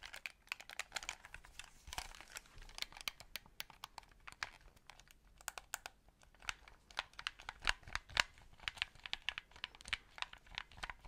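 A white, hollow plastic game controller is held in both hands close to the mic while fingertips click its buttons and triggers. Dozens of quick, dry, bright clicks and taps come at an uneven pace of about two per second, each dying away almost instantly. Faint crinkly rustling sits underneath, and the overall level stays quiet.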